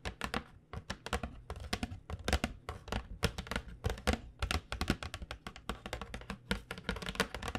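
Long nails tap rapidly and irregularly on the front of a flat printed cardboard box of 12 acrylic paint pens held horizontally. Each tap is a short, dry click with a soft, hollow low thump beneath it and a bright crisp edge. A faint steady low hum sits underneath.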